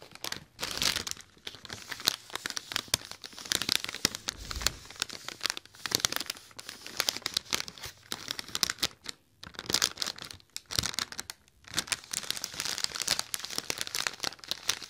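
A large, hollow, inflated silver mylar foil letter balloon is held in the hands while fingertips and nails scratch and crinkle its surface. Dense, bright crackling and crinkling runs throughout, with quick tearing-like rustles and small pauses between bursts.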